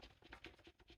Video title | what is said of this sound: what to look for in saya fit | has a little bit of rattle